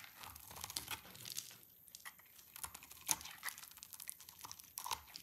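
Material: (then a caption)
Soap. A utility knife blade, held near the fingertips, shaves and scrapes a hand-sized, solid beige rectangular bar of dry soap. Quiet, bright, crisp scraping and crunching strokes come in an irregular series with almost no low end. Each stroke cuts off sharply with no ring.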